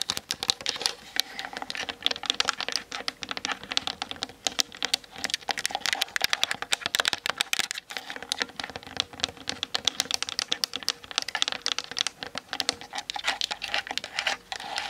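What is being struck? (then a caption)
Plastic DSLR camera body. Long nails tap quickly across the top and sides of a Canon DSLR's hollow plastic body as it sits on a tripod, captured by the camera's built-in mic. The result is a dense, continuous stream of bright, dry, clicky taps with almost no low end, each tap dying away instantly.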